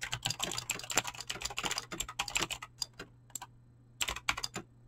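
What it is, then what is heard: Mechanical keyboard with PBT keycaps. Fingertips fast-type on a mechanical keyboard with clicky green switches and PBT plastic keycaps. Bright, crisp clicks come in dense bursts, pause briefly, then resume, each tap stopping almost instantly over a faint low hum.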